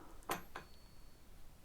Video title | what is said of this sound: GHOSTS of ANCIENT RAM INN - In Search of a DEMON... Did we Find it? | But why is it making a high pitched sound? because it's when you knock it. That's what it does.